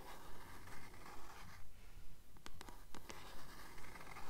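A *Titan's Curse* paperback, a blue book, is held upright while long nails tap and scratch its cover. Soft, steady rhythmic scratching continues throughout, broken midway by a few quick, crisp taps. The sound stays quiet and close.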